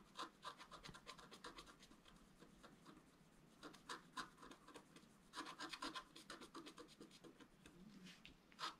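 A wooden stylus scrapes along the outline of a gate on a flat, black-coated scratch art paper sheet. It makes quick, dry, raspy strokes in bursts with brief quiet gaps. The texture is bright and scratchy, with a papery tone around 1.3 kHz and little low end.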